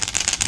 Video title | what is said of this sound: Garden Route Fishing News 20 Jan 2025 - Kabeljou | it's got a nice big rattle in there